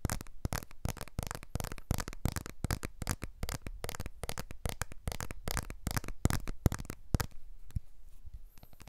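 Fingertips and short nails tap and scratch the glass back of a blue iPhone 12 smartphone with an aluminium frame, held in both hands near a TASCAM recorder. Quick, dry clicks and scratches come in a dense, steady run with a soft low thump under each, and they thin out toward the end.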